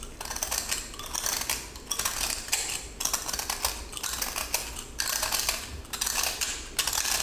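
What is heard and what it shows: A yellow utility knife blade scrapes and cuts with repeated strokes into a small, solid cylinder of pressed colored salt with a silver-grey glitter coating, held in one hand. Each stroke makes a bright, gritty crunching and rasping sound full of rapid ticks, coming in bursts as crumbly salt is shed.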